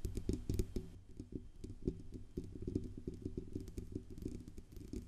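Long nails tap and scratch on the band under the grille and the metal sides of a silver Blue Yeti USB microphone with a hollow metal body. Quick, dull, low-pitched taps and soft rustling scrapes follow one another closely. Each tap dies away almost at once.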